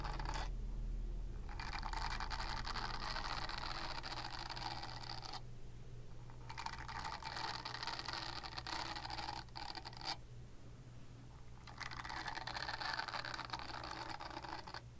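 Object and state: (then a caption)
Silicone body scrubber bristles scratched. Long nails scratch the bristles of a flexible purple silicone body scrubber, making a rapid, bright, crackly scratching in several long stretches separated by brief pauses. A steady low hum runs underneath throughout.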